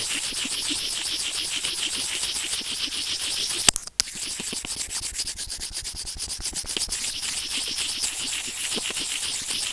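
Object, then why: Plastic earphone inline microphone. White plastic tweezers with serrated tips rub against a white plastic earphone inline remote microphone resting on felt. A steady, bright, scratchy rubbing pulses in quick, uneven strokes. Just before the 4-second mark, a sharp click and a brief drop to near silence interrupt it, and then the rubbing resumes.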